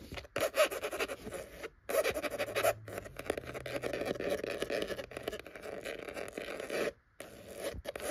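Long acrylic nails and fingertips scratch and tap across the cover of an old maroon cloth-bound hardcover book, solid and closed, lying flat on top of a row of books on a wooden shelf. The result is a dense, dry rasping texture centred in the midrange with a bright fizz on top, broken by a few brief silent pauses. Short taps with almost no ring are scattered through the scratching.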